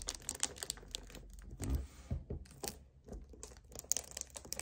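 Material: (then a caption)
Plastic. Fingers and nails grip, squeeze and tap a hollow 1 L white plastic strawberry kefir bottle up close. The result is quick, bright clicks and taps mixed with soft crinkling squeezes and low thuds, all quiet and dry.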